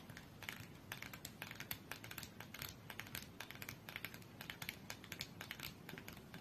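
Long nails rapidly tap the top edge of a small red printed cardboard UNO card box standing upright on a fur rug, closed and holding cards. The result is a quick, steady run of light, dry clicks with a bright crisp edge and almost no ring, over a soft low background rumble.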